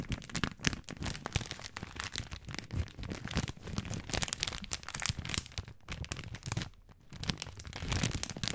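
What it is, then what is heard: Plastic spaghetti package being crinkled. Fingertips crinkle and squeeze the plastic film wrapper of a full bag of dry spaghetti held horizontally. A dense, continuous run of sharp crackles and crinkles spreads from low thumps up to bright high hiss. The sound briefly softens just before the seven-second mark, then picks up again.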